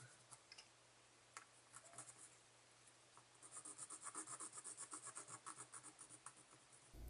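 A large laser-cut thin plywood minute gear with wooden dowel pegs, lying on a towel, is held steady by fingertips while a small blue tool, likely a file or sanding stick, is rubbed and scratched inside its central hub. Faint, scattered scratches in the first few seconds build into a quick, uneven run of dry rasping strokes with a bright, airy edge over a low steady hum.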